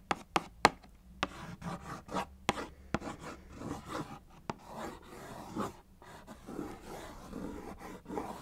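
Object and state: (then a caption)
Cardboard cereal box. A small, hollow, closed Kellogg's Fruit Winders cardboard box is held in one hand and tapped and traced with long acrylic nails. Seven sharp, dry clicks stand out over the first 4.5 seconds, mixed with soft scratching as the nails drag across the cardboard. The last part settles into a steady, papery rubbing with faint taps.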